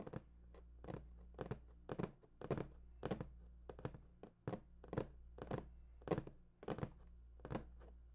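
Fingertips tap the top and edge of a large, hollow, printed cardboard PS4 box in a loose, uneven rhythm. Each tap is a short, dull, hollow thunk that dies away almost at once, over a steady low hum.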